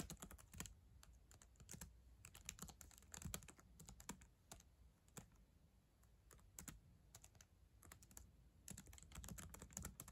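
Fast typing with long acrylic nails and fingertips on the plastic chiclet keyboard of a black ThinkPad laptop. It makes dense, quick bursts of sharp, bright clicks and clacks with brief pauses between runs, over a steady low rumble.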